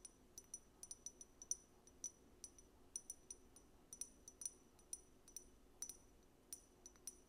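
A small amber glass bottle with a paper label is held in both hands close to the microphone and tapped and scratched with long nails. About 25 quick, bright glassy taps ring briefly over a quiet, soft rustling background.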